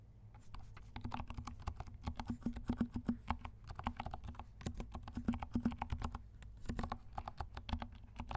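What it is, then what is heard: Plastic mechanical keyboard. Fingertips of both hands type on a compact 68-key plastic mechanical keyboard with dark plastic keycaps and silent switches. Soft, rapid, muffled keystrokes with short decay patter continuously over a low thudding base, with a faint tone around 240 Hz.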